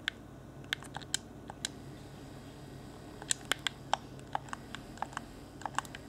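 A fingertip taps and presses the face buttons and hollow shell of a clear, transparent plastic Xbox One Afterglow game controller. About 18 short, dry, bright clicks and taps land at an irregular pace over a faint, steady low hum, each dying away instantly.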